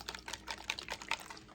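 A plastic bottle of hydroponic nutrient, filled with purified water and large tablets, is shaken. It gives a quick series of bright, clicking rattles, with about nine distinct hits. The rattling shows the big tablets have not dissolved yet and are still knocking around inside.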